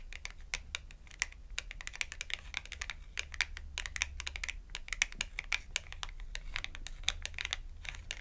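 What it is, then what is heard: Glossy cardboard clothing tag. Long acrylic nails rapidly tap the edge of a small red glossy cardboard clothing tag held edge-on between the hands. The result is a dense, irregular stream of sharp, dry clicks with a bright, crisp top and no ring, over a faint steady low hum.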